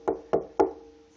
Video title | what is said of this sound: House renovations in Japan part 22 stairs pt 2 | one way to tell if it's solid, when you tap on it, there's no vibration.